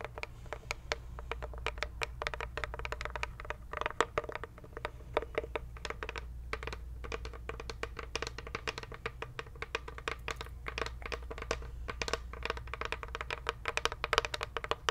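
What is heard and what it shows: A closed, light unfinished wooden cigar box with brass clasps is tapped and scratched with long nails. The result is a dense, quiet stream of quick, dry clicks and scratchy taps with a woody midrange tone and very short ring. A steady low hum sits underneath.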